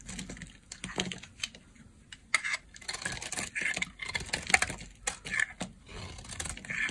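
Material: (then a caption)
Soap. A solid lilac bar of dry soap, held in the hand, is carved with a utility knife blade, and strips flake off. Short, dry, crackly scraping bursts come in an uneven rhythm, mostly bright and high, with quick decays and faint low rumble between cuts.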